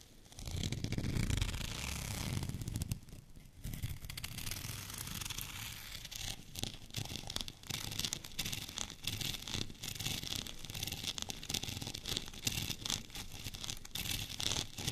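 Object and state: Textured plastic rolling pin being scratched.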